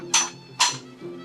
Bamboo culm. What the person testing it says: Wah, kuat bunyi dia tu, Wak. Bermakna bunyi kuat, kena bulu yang cantik lah.